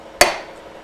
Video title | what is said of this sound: AVOID WHEEL BEARING FAILURE! | when you hear this change, hear it? You're in. Don't sit there wailing on it. It's in.